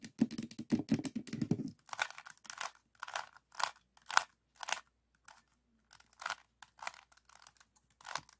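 A small stickerless plastic 3x3 Rubik's cube with a hollow mechanism is tapped by fingertips and thumbs on its top and side faces. A fast cluster of soft, low-mid clicks gives way to sharper, brighter hollow plastic taps. The taps come in separate, irregular bursts that die away almost at once.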